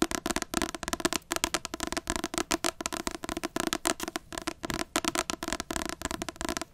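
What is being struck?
Paperback book with glossy card cover.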